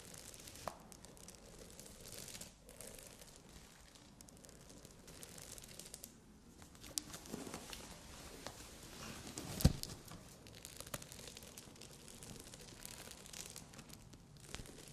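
Long nails scratch and tap a bikini top with padded cups densely covered in small Swarovski crystal rhinestones, resting on a satin bag. The result is quiet, continuous crinkly scratching with small bright clicks throughout and one sharper, louder tap near the ten-second mark.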